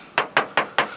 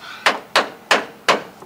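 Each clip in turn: First: body filler in a steel car panel (dead spot). Second: steel car quarter panel with no body filler.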